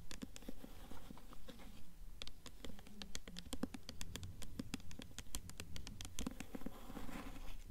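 Long fingernails tap and scratch the front of the paper dust jacket on an upright blue hardcover book. Quick, fairly steady, dry taps come at roughly two per second, with soft papery scratching between them. The sound is quiet and dull, with each tap dying away almost at once.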